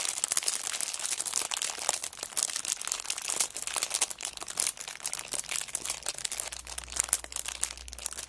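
Fingers with long black nails scrunch and crinkle the clear cellophane wrapper on a kraft paper notebook held in the hands. The result is a dense, continuous run of bright, crackly crinkles with sharp snaps and almost no low end, and a faint low hum rises beneath it near the end.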